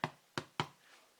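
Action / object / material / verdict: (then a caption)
tap / loaf of bread / bread / hollow. A homemade loaf of bread, taken out of its pan and turned upside down, is tapped three times on the bottom. Each tap gives a short, hollow knock that dies away quickly. The hollow sound shows the bread is cooked through and airy inside, with no wet spots.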